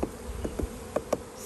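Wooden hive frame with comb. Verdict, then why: Full. Light taps on the top of a wooden hive frame with comb give short, dull knocks over a faint buzzing of bees. The frame sounds full rather than hollow, meaning there is honey at the top of the frame.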